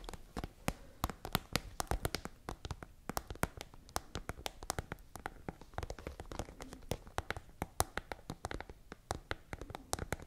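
Long nails tap rapidly on the top of a tall, hollow, iridescent holographic transparent plastic pencil case with pens visible inside. The taps come as a dense stream of sharp, dry clicks that stop almost instantly, with a hollow low thud beneath each one and bright crisp edges.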